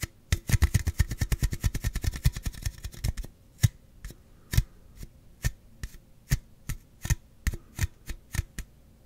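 A slim Celsius aluminum drink can is held horizontally over the mic and tapped on its side with the fingertips. A fast run of dry, hollow taps for about three seconds slows into single taps spaced farther apart. Each tap is a short, low thud with a faint bright click and almost no ring.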